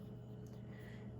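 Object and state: Nothing is struck.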